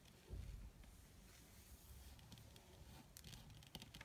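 Long red fingernails on both hands tap quickly on a flat black crinkled leather (or faux leather) surface. The result is a quiet, low, muffled patter of soft thuds, with a fuller bump near the start and a few sharper, brighter clicks toward the end.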